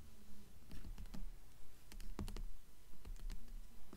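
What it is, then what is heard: Hardcover book with paper dust jacket. Long fingernails on both hands tap rapidly on the glossy paper dust jacket of a hardcover book lying flat on top of a stack of books. The result is a quick, uneven run of crisp clicking taps with bright ticks over a soft, low thud, each dying away almost at once.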